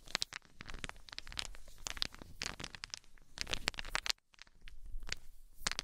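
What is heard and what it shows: A cluster of small, solid wooden balls is shaken and squeezed in cupped hands with long nails, so the balls clack together. The result is a dense stream of sharp, bright clicks and rattles over a low rumble, with a brief pause near the four-second mark before the clacking resumes.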